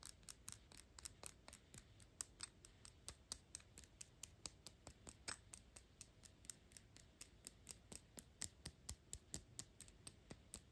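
Long pink acrylic nails tap and scratch the gold metal cap of a Gucci perfume bottle. Around fifty fast, unevenly spaced clicks sound crisp and bright and die away almost instantly, over a faint scratchy hiss.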